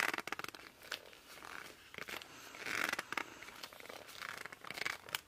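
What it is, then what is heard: Laminated cardboard board book. Both hands grip and rub the glossy laminated cover of a small children's board book, "I Love You Through and Through," made of solid, thick cardboard, using fingertips and palms. The friction makes a series of squeaky squeals and scratchy rubs. They are quiet and bright, centered around 2 kHz, with short sharp bursts between longer sustained squeaks.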